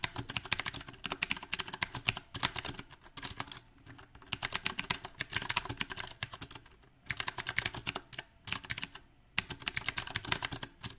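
A compact backlit mechanical keyboard with round plastic typewriter-style keycaps is typed on quickly with the fingertips of both hands. Bursts of bright, sharp clicks and clacks come in uneven runs, broken by short pauses. Each keystroke stops almost instantly with no ring.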